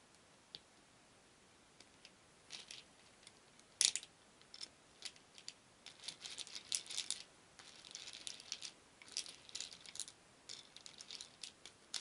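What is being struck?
Small wooden beads in a wooden bowl.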